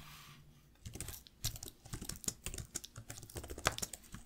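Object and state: Plastic laptop keyboard being typed on.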